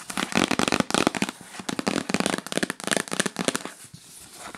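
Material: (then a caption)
Cardboard. Long acrylic nails tap fast on a yellow printed cardboard gift box, first held and then lying flat. The result is a dense, rapid flurry of dry, hollow clicks and crackles, bright and crisp with almost no ring, easing off toward the end.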